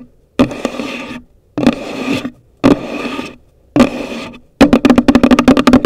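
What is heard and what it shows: Long nails tap across the top of a hollow, pale green cardboard gift box. There are four short bursts of rapid clicking, then a quick run of separate taps. Each tap gives a dry, hollow knock with a low resonance and a bright clicky edge.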